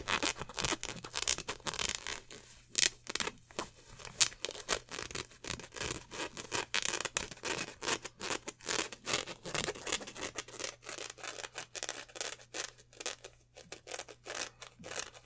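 Hands grip, stretch and crinkle a black polyester basketball jersey held up at the neckline, working the fabric and its twill lettering. Rapid, bright rustling and scratchy crackles come in dense, uneven bursts with almost no low end. A faint steady low hum runs underneath.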